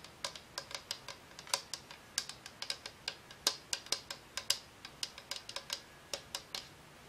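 Long acrylic nails tap the hollow frosted-plastic cylindrical shade of a Homecube color-changing lamp, glowing green and blue on a dark base and held in one hand. About 35 quick, irregular taps sound as sharp, bright plastic clicks with almost no low end. Each click dies away almost instantly, like fast typing.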